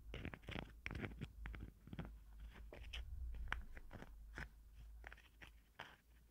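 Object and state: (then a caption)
Plastic cosmetic jar. A small pink plastic cosmetic jar with a green lid is turned in the hands while long nails scratch and tap its ridged plastic. Short, crisp crunchy taps and scratches come at an irregular pace over a low, steady rumble.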